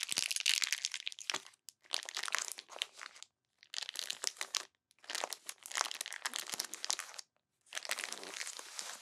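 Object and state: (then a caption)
Plastic bag of bead slime. Fingertips and long nails press and rub a flat, clear plastic bag of purple glittery bead slime lying on a table. Bright, dense crinkling and crunching comes in bursts, separated by short silent pauses.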